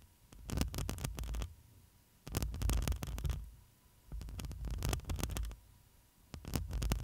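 Long nails scratch the metal mesh grille of a black microphone, first with two hands and then with one, in four rhythmic bursts of scratching. Each burst is a heavy, close, low rumbling scrape laced with bright crackling clicks, with quieter pauses between them and a faint steady hum underneath.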